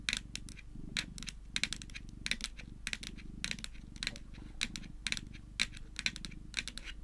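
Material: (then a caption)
Plastic. Long nails tap and click on top of a small, flat, white hard-shelled plastic Hello Kitty power bank lying on a table. The result is a quick, irregular run of sharp, bright, dry clicks that stop almost instantly, over a faint, steady low hum.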